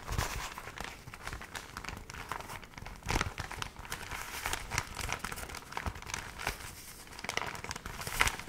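A water-damaged paper magazine, its pages dried into rippled waves, is held by the edges in both hands and fanned and flexed so the stiff pages crinkle. The result is steady, dry crinkling and rustling with bright, sharp crackles throughout, and louder bursts near 3 and 8 seconds.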